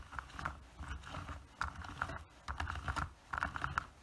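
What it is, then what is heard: Plastic PVC figure. Fingernails tap and scratch the surface of a small, solid plastic (PVC) anime figure standing on a black plastic base. The result is a quick, irregular run of light, dry clicks and scratchy bursts with a mid-pitched tick around 1.3 kHz. Each sound stops almost instantly with no ring.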